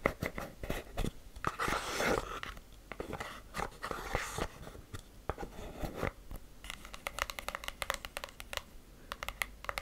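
Long black acrylic nails tap and scratch the surfaces of a small, closed, hollow cream-colored cardboard gift box. Quick, dry, clicky taps mix with brief scratchy scraping bursts, each dying away almost at once with no ring.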